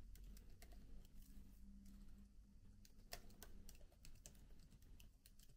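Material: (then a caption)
Plastic. Fingertips type steadily on the plastic keys of a MacBook laptop keyboard with an aluminium body. Soft, quick, bright clicks follow one another over a low, steady hum.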